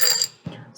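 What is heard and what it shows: Rocks are shaken inside a glass jar, giving a bright, high-pitched clattering rattle that fades quickly. A softer, lower knock-and-rattle follows as the rocks settle.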